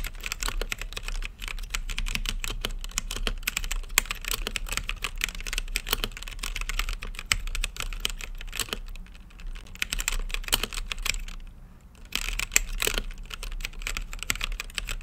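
Fingertips type steadily on a mechanical keyboard with plastic keycaps and a clear acrylic RGB case, producing rapid, bright, clacky keystrokes that stop dead with almost no ring. The typing runs continuously over a faint low hum, pauses briefly near the end, then resumes at the same quick pace.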